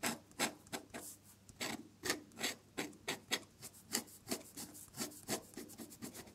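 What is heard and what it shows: A metal dip-pen nib loaded with red ink scratches across a sheet of drawing paper while drawing another flower, with the nib staying on the paper throughout. The sound is a series of short, bright, dry scratches in an irregular rhythm, about fifteen distinct strokes separated by quieter moments of faint rubbing.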